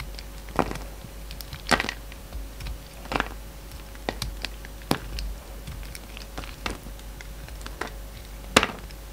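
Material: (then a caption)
Soap. A yellow box cutter carves into a solid light blue bar of soap, making short, crisp scraping and cutting strokes at irregular intervals. Each stroke is a brief, bright crackle over a faint, steady low hum.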